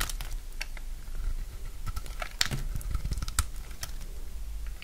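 A utility knife cuts and scrapes thin slices off a solid rectangular bar of dry purple soap. The result is a run of crisp, dry crunches and bright scraping clicks over a low, steady rumble, with two sharper snaps standing out near the middle.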